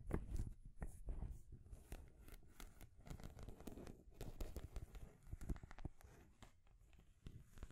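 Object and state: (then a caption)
Painted wooden stacking ring toy. Long nails scratch and tap the rings of a small rainbow stacking ring toy made of solid painted wood, with a wooden base and a ball top. The result is a quiet, steady stream of dry scratches and sharp little taps that stop almost instantly, mostly low and thuddy with faint bright clicks.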